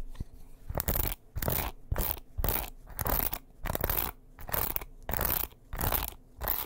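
A small wooden paddle hairbrush is held close to the microphone while fingernails scratch and tap its wooden back and bristles. The result is a string of quick, crunchy scratching bursts separated by short pauses, repeating at an uneven pace.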